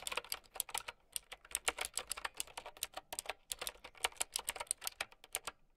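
Long nails and fingertips type on a mint-green, typewriter-style mechanical keyboard with round plastic keycaps. Bright, sharp clicks and clacks come in a quick, uneven run of keystrokes. Each one stops at once, with almost no low end.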